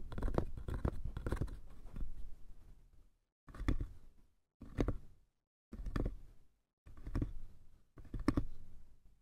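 Fingertips and nails tap and scratch the sides and lid of a small, hollow, light wooden box with a brass clasp and a painted top. A dense stretch of quick, dull taps and scratches opens the clip, then five short separate bursts follow with near silence between them. The sound is soft, low-heavy and dry, with almost no ring.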